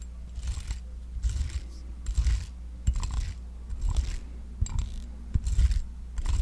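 A small, round, palm-sized pink silicone facial cleansing brush with a soft bristled surface is held in one hand while a metal back-scratcher claw is scratched across its bristles. Short, irregular bursts of bright, raspy scratching rise and fall over a steady low hum.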